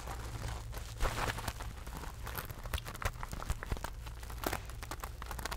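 Long acrylic nails scratch and tap a small silver rhinestone/crystal mesh purse with a loop handle, held in both hands. Dense, bright crinkling scratches are broken by sharp clicking taps over a steady low hum, with the loudest taps near the one-, three- and four-and-a-half-second marks.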